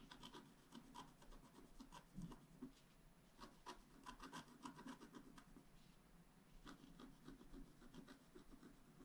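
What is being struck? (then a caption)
Scratch art paper card scratched with a wooden stylus. The tip of a wooden stylus scratches a flat black scratch art paper card lying on a table in repeated short strokes. Each stroke gives a quiet, dry, rasping scrape with a soft low-mid body and bright gritty edges. The strokes come in quick bursts throughout.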